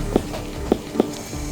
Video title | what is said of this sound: Greyhound Breaks Leg Running Up To 72km/h 💔 Season 10 Episode 4 - Bondi Vet | we know when it's right when we can flick it and it sounds like a watermelon means the pressure is enough